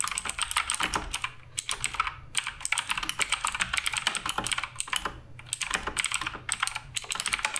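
Fingertips type continuously on the plastic keycaps of a black RGB Redragon K588 Broadsword mechanical keyboard. Quick, bright, short clacks come in rapid, uneven bursts with brief pauses between runs.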